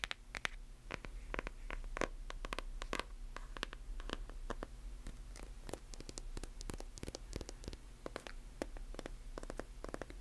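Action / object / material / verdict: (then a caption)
scrape / closed hardcover book with paper jacket / paper / none. Long nails scratch and tap on the cover and page edges of a closed hardcover book with a paper jacket. The result is a quiet, rapid stream of short, dry clicks and scratchy strokes with bright edges, over a steady low hum.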